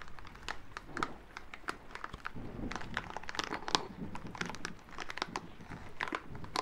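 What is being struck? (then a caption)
Rubber spiky massage ball. A small green rubber massage ball covered in soft spikes is held in the hands and rubbed and squeezed with the fingertips and palms. It gives a dense, crinkly rustling with quick crackles and sharp bright clicks over a soft low rumble of handling, all close and quiet.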